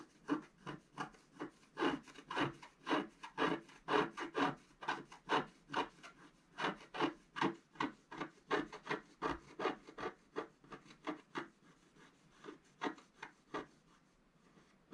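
A thin wooden stylus held in the fingers scratches away the black coating of a flat scratch-art card page with a colourful underwater motif, lying on a table while the other hand holds the page down. About 39 short, dry rasping strokes follow in a quick, uneven rhythm, each scraping and fading almost at once. The strokes grow softer and sparser toward the end.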